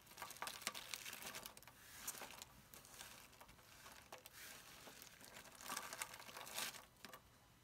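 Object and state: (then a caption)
Dry soap shavings crumpled by hand. Bare fingertips with short painted nails grab handfuls of thin, dry, curled soap shavings in green, pink and blue from a pile on a granite counter, squeezing, crumpling and rubbing them. The shavings give off a dense, irregular, bright crackle and crunch, with louder bursts as each handful is squeezed and almost no low end. The sound fades to a soft rustle at the end.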